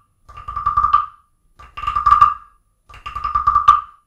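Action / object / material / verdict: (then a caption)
scrape / carved wooden frog guiro and wooden stick / wood / none. A wooden stick is tapped and scraped along the ridged back of a small, solid carved wooden frog guiro sitting on an open book. It gives three separate bursts of quick, clicking ratchets that form a hollow, croaking tone around 1.2 kHz. Each burst builds up and stops short.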